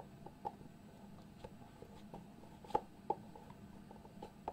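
Fingertips tap, scratch and slide across the lid of a small, hollow white cardboard product box. Quiet, dry, brief taps with a hollow midrange knock stand out over a soft, continuous scratching and rustling. There is little low rumble and no bright high end.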